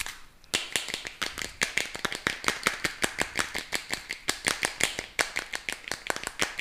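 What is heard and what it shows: A small, hollow, clear plastic cup with a red lid, held in both hands close to the microphone, is rapidly tapped and scratched with fingernails and squeezed. After a brief quiet start, a fast, uneven stream of sharp, bright plastic clicks and taps follows, each dying away almost instantly. There is little low end.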